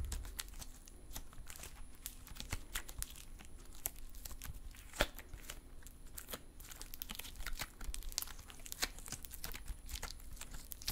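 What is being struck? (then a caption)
Stress putty. A crumpled lump of silver metallic stress putty is held in both hands while fingertips pinch, fold and stretch it. This makes a steady stream of quiet, sharp clicks, pops and crinkly crackles over a low background rumble. One louder pop stands out near the middle.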